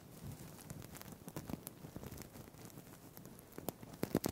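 Fingertips scratch and flip the plastic sequins on a green sequined fabric tie held above a microphone. It makes a soft, continuous crinkly rustle with scattered light ticks and crackles. Sharper, louder clicks cluster near the end.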